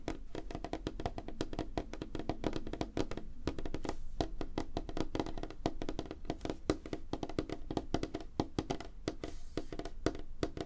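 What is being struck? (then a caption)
Wooden tabletop. Both hands tap rapidly on a large, flat, solid light-wood tabletop with fingertips and short nails, spreading apart as they go. The result is a dense stream of short, dry wooden clicks with a hollow tone around 312 Hz and a low body, each tap dying away almost instantly.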